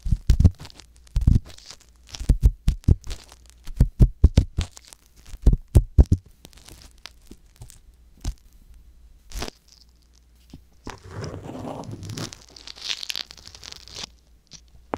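A wooden ear pick scratches inside the ear canal of a soft silicone ear on a white box binaural microphone, making deep, muffled thumps and scrapes that come in quick clusters for the first six seconds. The strokes then thin out into sparse, isolated scrapes. Near the end comes a longer stretch of softer, brighter rustling scratches.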